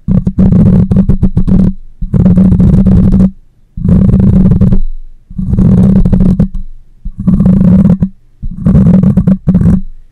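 Long light-colored nails scratch the cylindrical, hollow metal mesh grille of a black condenser microphone standing upright on a stand. About six bursts of dense, close scratching come through as a loud, boomy low rumble with rapid crackly strokes, each separated by a brief quiet pause.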